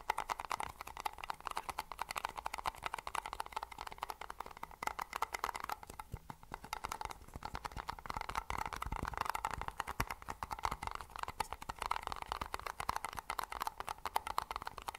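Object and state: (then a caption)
Plastic lid on a paper cup. Fingertips and nails tap and scratch the white plastic snap-on lid of a hollow Pepsi-branded paper drink cup held close to the mic. Fast, dense, dry clicks and scratchy crinkling continue for the whole clip, centered in the midrange around 900 Hz with little low end. The sound stays quiet and steady, with no ring after each tap.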